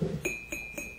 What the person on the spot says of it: 이건 본질이 사기입니다. 사기.